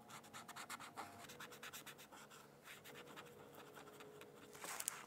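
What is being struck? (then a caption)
Brush-tip pen on a thin paper sheet over a hard book. A black-barrel brush-tip pen colors a thin paper coloring sheet resting on a hardcover textbook in scratchy strokes. Quick, quiet, bright scratching bursts come in a rapid rhythm, then settle into a steadier rub before a sharper, louder scrape near the end.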